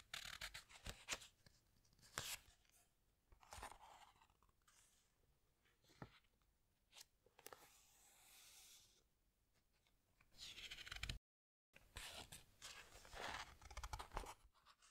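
Fingertips with long nails rub and squeeze the glossy paper pages of a large hardcover animal book while turning them. Bright, crisp rustles and sharp crackles come in bursts between quieter smooth sliding strokes, with a brief silent gap near the eleven-second mark.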